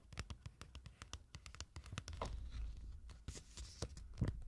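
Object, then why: Thin printed paper card. Long nails tap and scratch the surface and edges of a small, thin, rectangular printed paper card with a farm picture, held in both hands. A quick series of crisp, dry taps gives way midway to a denser, scratchy rustle, then sharp taps return. The sound is quiet, with very short decay and most energy in the low range.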